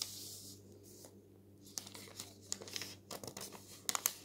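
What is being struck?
Thin newsprint newspaper page.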